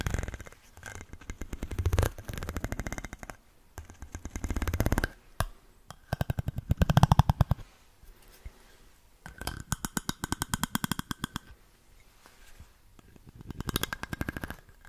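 A light-blue plastic stick is scratched along the horizontal ribs of a large, dark, ribbed glass bottle that is hollow and appears empty. The result is bursts of rapid, dense clicking in several separate passes with short pauses between them. Each pass has a low, hollow resonance and very little high-end brightness.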